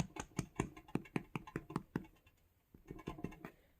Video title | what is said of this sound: Emotional bread making and my first mukbang! | when it sounds hollow then it's done so it sounds hollow